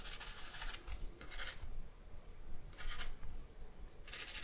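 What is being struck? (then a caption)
Charcoal stick on a paper sheet. A thin charcoal stick held in the fingers scratches and rubs across a single white sheet of drawing paper laid on a black backing on a wooden table while sketching. Bright, raspy strokes come in short bursts separated by quieter pauses, over a faint low rumble.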